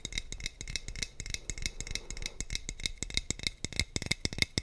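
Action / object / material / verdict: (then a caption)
tap / glass bottle / glass / none. A hollow clear glass sangria bottle with a teal screw cap and a colorful printed label is held in one hand and tapped with the fingertips and short nails of the other. The result is a rapid, irregular stream of bright, clicky taps with a glassy ring near 2.1 kHz and soft low thumps underneath. Each tap dies away almost instantly.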